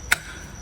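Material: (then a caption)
Steel. A single sharp, bright knock lands on newly fitted steel exhaust valves in a cylinder head, dying away almost at once with only a faint high tone behind it. The knock sounds like well-seated, okay valves. It is not part of the actual valve check, but someone who has lapped a cylinder head can tell from it whether the valves are okay.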